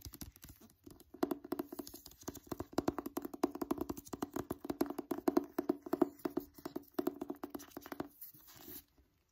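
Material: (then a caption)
Paper card. Fingertips and nails tap quickly and scratch across the card cover of a "Wonder" paperback book. The result is a dense run of quiet, dry, close-up clicks and scrapes with a slight hollow tone around 340 Hz, with brief pauses before trailing off into a soft rustle.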